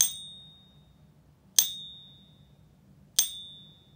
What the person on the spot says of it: you can hear we get about one to two seconds of ping from that four nines purity